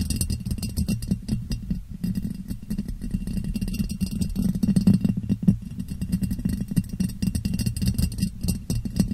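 A clear, ribbed, hollow and empty glass jar, turned upside down over the microphone, is tapped and rubbed on its sides with fingertips and nails. The result is a dense, continuous run of quick, dull taps and scratchy rubbing with a low, boomy resonance around 190 Hz, faint bright ticks above it, and almost no ring after each touch.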